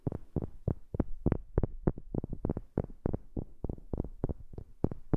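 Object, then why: Wooden object. Fingers tap on a wooden object, picked up close on a new microphone. About twenty short, dull, woody knocks land in a quick but uneven rhythm, mostly low and thumpy with very little ring after each hit.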